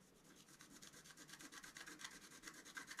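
A wooden scratch stylus, held in one hand, scratches lines into the black coating of a flat scratch art card about A4 in size, which lies on a table held by the other hand. A quick, steady series of short, dry, bright scratching strokes is heard, quiet and growing slightly louder toward the end, with almost no low end.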